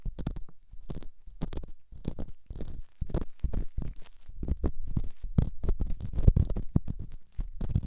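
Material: Stone.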